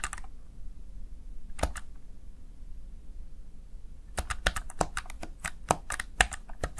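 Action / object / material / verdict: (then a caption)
tap / plastic gaming keypad / plastic / none. Fingertips press and tap the keys of a small black plastic backlit Razer Tartarus Chroma gaming keypad. A few sharp, bright plastic clicks come at the start, a couple more follow after a quiet pause, and then a quick, uneven run of crisp key taps closes the clip over a low background hum.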